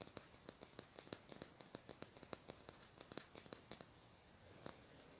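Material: Plastic.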